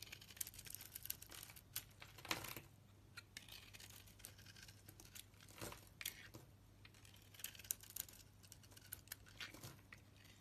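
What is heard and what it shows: A utility blade shaves curls off a solid pink soap bar with a purple outer layer, making dense, crisp scraping and crackling with many quick, bright ticks. Several louder, sharper cuts stand out over a steady low hum, and the overall level stays quiet.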